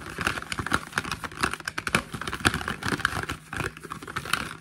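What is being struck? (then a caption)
Small printed cardboard box. Fingertips and nails tap and scratch the printed faces and ends of a small, hollow, printed cardboard product box held in the hands. The result is a quick, uneven run of dry, papery taps and scratchy rasps. Each tap is short and hollow with almost no ring, and the sound is centered in the mids with some bright edge.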